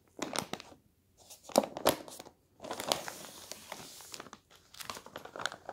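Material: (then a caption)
Paper. Hands turn a page of a paper newspaper on a table, press it flat with the palm, then lift and crinkle the sheet. Crisp, bright rustles and crackles come in irregular bursts separated by brief silences, with a longer steady crinkling stretch in the middle before more sharp crackles at the end.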